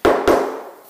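A hammer taps twice on a tile-ready cement floor screed laid over a concrete slab, giving two hollow, mid-pitched knocks with a short ring that fades away. The screed sounds hollow, meaning it is not bonded to the slab below, though for a tile-ready screed this is not necessarily a problem since the tiles have held for 30 years.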